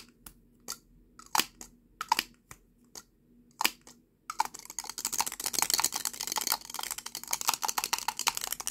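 A small hollow lipstick tube with a red-brown plastic body and a silver metallic-look cap is held horizontally in both hands while fingertips and short nails twist and rattle the lid back and forth. Sparse, sharp, bright plastic clicks come first, then from about four seconds a dense, rapid clatter of tiny clicks continues to the end.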